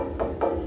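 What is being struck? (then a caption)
White granite countertop. Two taps on the edge of a new white granite countertop give short, bright, glass-like rings centered near 550 Hz. Each tap fades within about a third of a second over a low steady hum. The stone sounds solid, like glass.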